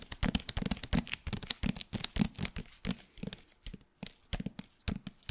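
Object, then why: Hardcover paper book. Fingertips and nails tap and scratch the front and back covers of a hardcover paper book with a glossy jacket. It makes a quick, uneven run of short, dry taps, each with a dull low thump and a bright clicky edge, and light scratchy brushing between them. The taps die away almost instantly.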